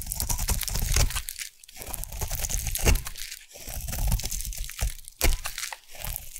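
A metal blade scrapes a solid white, round bar of Savannah collection soap into shavings. The result is dense, crunchy, crinkling scraping with a heavy low body, brief pauses near 1.5 and 3.5 seconds, and sharper, louder cuts near 2.9 and 5.2 seconds.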